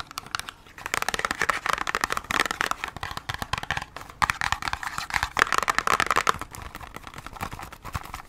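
Long acrylic nails tap quickly on the front of a small, hollow cardboard Band-Aid box. The result is rapid, dry, clicky tapping with a hollow ring around 1.3 kHz and a bright edge. It comes in two dense bursts, then trails off into softer, scattered taps.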